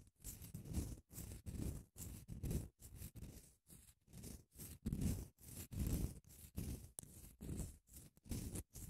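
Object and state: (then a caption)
Padded emery nail file. Long acrylic nails scratch back and forth across the surface of a long grey padded grit emery nail file. The quiet strokes come in short, uneven bursts separated by brief silences, each a soft scratchy rasp with a heavy low rumble and a faint bright hiss on top.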